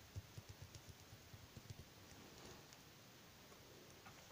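A small glass bottle filled with yellow face oil and fitted with a dropper cap is held in the hands while its base and sides are tapped quickly with fingertips and nails. A rapid run of soft, dull, low taps with almost no ring fills the first two seconds. After that only a quiet hiss and faint light rustling remain.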